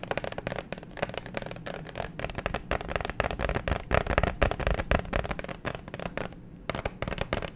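Fingernails tap quickly on a clear plastic liquid-glitter phone case with a pop grip, held in both hands. The taps come as a dense, uneven run of short, clicky hits, easing off briefly before picking up again near the end.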